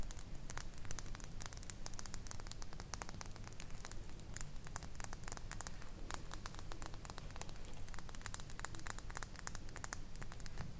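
A full, small glass bottle of silver glitter nail polish with a black plastic cap is held in the fingers and tapped with long blue nails. Rapid, dense, crisp clicks and ticks run continuously over a low, steady rumble.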